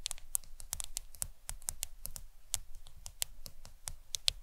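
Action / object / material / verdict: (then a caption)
tap / smartphone glass screen / glass / none. Long acrylic nails tap the glass screen of a black smartphone lying flat on a towel. The result is a quick, uneven run of sharp, bright clicks that stop dead with no ring, over a faint low rumble.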